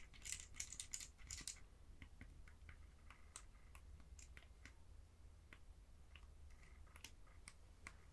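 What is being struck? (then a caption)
Plastic game controller in a plastic wheel grip. A red and blue Joy-Con controller sits in a small, hollow red plastic wheel-style grip while a fingertip clicks its buttons and taps the plastic. A quick burst of bright, clattering clicks is followed by a steady run of sharp, dry ticks and taps over a low hum.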